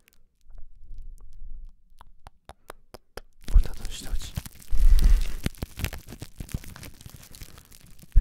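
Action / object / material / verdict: scrape / crumpled ball of plastic cling wrap / plastic film / none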